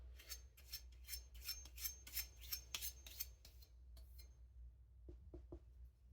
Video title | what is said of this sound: professional knife sharpening part 2 | Edge is so thin, it's ringing out. Is it edge flexing? Yeah, it's edge flexing.